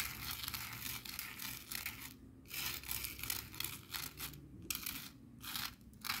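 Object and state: Coarse salt crystals scraped on plastic board.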